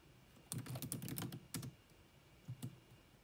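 Long manicured nails and fingertips rapidly tap the dark plastic chiclet keys of a grey laptop with a hollow body. A quick flurry of crisp clicks with a low, hollow thud under each tap is followed by a short pause, then a couple more isolated taps and a final pair. Each keystroke is sharp and dies away almost at once.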